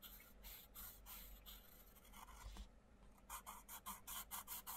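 A wooden coloured pencil tip rubs and scratches across the paper page of an open paperback colouring book in colouring strokes, with the other hand holding the book open. Longer, steady, bright scratchy strokes come first, then a brief lull, followed by a quick run of short, separate back-and-forth strokes over a faint low hum.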